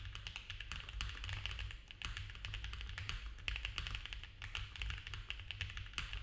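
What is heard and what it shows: Fast typing with both hands' fingertips on a compact, foam-filled mechanical keyboard with cream ABS keycaps, a polycarbonate plate and a dark case. A dense, continuous stream of short, bright clacks that die away almost instantly sits over a steady low hum.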